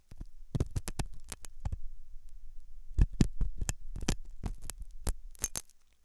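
A hooked metal dental tool scratches inside the ear canal of a white translucent silicone ear made of soft solid rubber, likely mounted on a binaural ear microphone. Close, crackling scrapes and soft thumps come in quick clusters, mostly low and dull with bright crackle on top, pausing for about a second midway before resuming.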